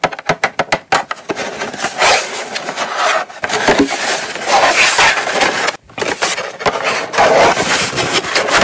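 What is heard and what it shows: Long nails tap and scratch the front face of a small, closed, hollow brown kraft cardboard gift box held upright. A quick run of sharp, papery taps opens the clip, then gives way to sustained bright scratching with brief pauses, returning to faster scratching and taps.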